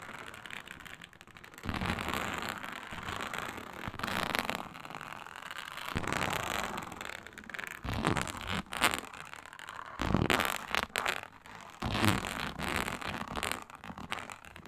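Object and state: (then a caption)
Faux snakeskin leather mat. Long pointed nails rake and scratch across a flat, iridescent faux snakeskin mat of embossed reptile-scale synthetic leather. The result is a dense, bright, crackly rasp that comes in bursts of louder, rougher strokes alternating with quieter, lighter scratching, with occasional low bumps under the stronger passes.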